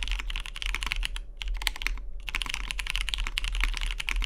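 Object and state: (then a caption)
Mechanical keyboard typing. Fingertips type quickly on a Matrix 2.0OG tenkeyless mechanical keyboard with a cyan anodized aluminium case, cream plastic keycaps and lubed vintage MX Brown switches, set on a deskmat. The dense stream of short, crisp keystrokes clacks brightly around 2 kHz over a steady low hum, with a brief near-pause around the middle before the typing resumes.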